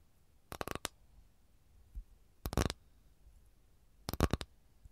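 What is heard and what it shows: Long nails tap and scratch the top surface of an empty, flat rectangular capiz shell tray held in both hands. Three short bursts of quick, crisp clicks ring out, separated by quiet gaps. Each click is dry and bright, dying away almost instantly.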